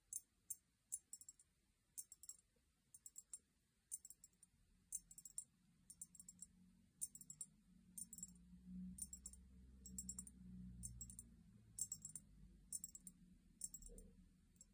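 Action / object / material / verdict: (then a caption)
tap / small cut-crystal glass vase / crystal glass / none. A small, empty, hollow cut-crystal glass vase, held in both hands, is tapped with long painted nails in quick, uneven clusters of bright, high clicks. Each tap dies away almost at once, and a soft low rumble sits underneath, swelling in the middle of the clip.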